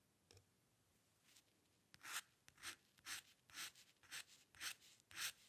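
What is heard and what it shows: A steel-nib dip pen loaded with ink scratches strokes across a flat sheet of white drawing paper on a dark table, drawing the upper hair area. Quiet, dry, bright scratching bursts start faint and sparse, then become louder strokes at a steady, slightly uneven pace of roughly two per second, each ending quickly.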